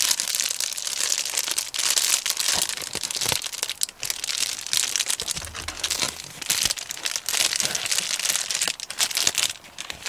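A medium Amazon Prime poly bubble mailer, hollow and apparently holding a DVD, is held in both hands and crinkled and squeezed with the fingertips. It gives a dense, continuous, bright crinkling full of quick crackles and snaps, with almost no low end. The plastic rustle keeps up throughout, dipping briefly between squeezes.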